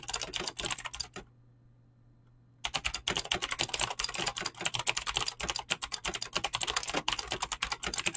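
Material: Plastic.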